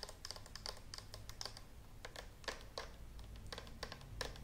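Long nails tap rapidly on the handle buttons and hollow body of a green and white plastic clothes steam iron held close to the microphone. The taps are quick, light, bright clicks with very short ring, coming in an irregular, typing-like patter over a low steady hum.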